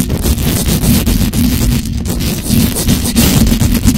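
Long dark-red acrylic nails scratch fast across the top and sides of the hollow metal mesh grille on a black condenser microphone. The scratching comes through as a dense, steady, bass-heavy rumble with a muffled tone around 250 Hz and only faint high grit. Quick strokes ripple the level without any gaps.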